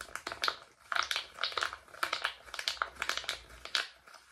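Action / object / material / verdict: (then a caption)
tap / silicone pop-it fidget toy / silicone / none. Fingertips and thumbs press a palm-sized rainbow silicone pop-it fidget toy with hollow bubbles, held close to the microphone. They pop the bubbles continuously in a quick, uneven run of short, dry, bright pops with a hollow tone around 1.4 kHz. Each pop dies away almost instantly.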